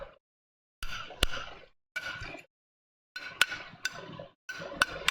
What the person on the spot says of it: जब दो धातुओं को हमें आपस में टकराता हूं तो कैसी आवाज आती एक टन टन की आवाज आती